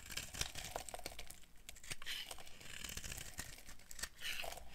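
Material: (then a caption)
Soap. A solid, dry white soap bar held in the hand is shaved and carved with a metal blade, shedding flakes and crumbs. A steady run of crisp, bright scraping strokes and crunchy crackles is heard, with short dry cuts that stop almost instantly over a low background hum.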